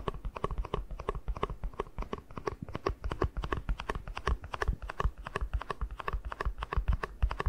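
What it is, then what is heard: Empty plastic cup, hollow. A small, empty, hollow white plastic cup is tapped quickly on its base and side with the fingertips. The result is a fast, steady stream of short, dry, hollow clicks with a soft low thump and a faint hollow ring, each dying away almost at once.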